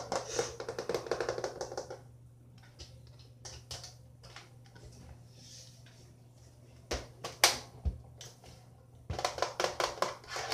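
Fingertips and nails tap a closed, dark blue hollow plastic laptop held upright, first on the lid and then on the ribbed underside with its vent grille after it is turned over. Quick, bright clicky tapping comes in bursts, with quieter, sparse taps and a low steady hum in between.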